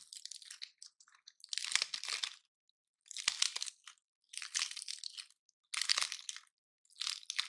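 Fingers and a thumbnail pry at and break the woody scales of a single palm-sized, dry, gold-painted pine cone. Bursts of bright, brittle crunching and crackling come in short clusters separated by brief silences. The sound is almost entirely high-pitched, with no low end, and each crack dies away at once.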